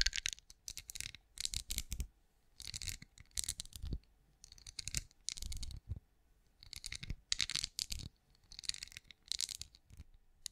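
Long acrylic nails tap a hand-sized, cream, pinecone-shaped wax candle that appears solid, held beside a microphone. Quick clusters of bright, dry, clicky taps come in bursts separated by short quiet pauses, with a faint low thud under some strikes and almost no ring after each tap.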